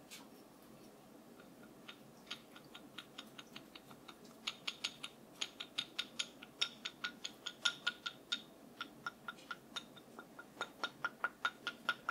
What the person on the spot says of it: 05:10 Wooden Brush Tapping